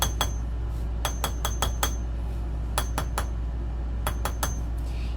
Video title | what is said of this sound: Make With Me Monday - Space Themed Bath Bombs! Using our High Humidity Bath Bomb Recipe! (Replay) | I'm listening for a hollow sound, but I'm also like pulling up as I'm tapping.